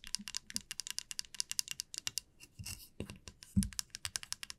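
Long nails tap rapidly on the teeth of a flat, light wooden wide-tooth comb lying on a felt mat, making a quick run of short, dry, bright clicks with almost no ring. Midway, the nails strum across the teeth in a brief, raspy sweep, followed by a soft low thump before the fast tapping resumes.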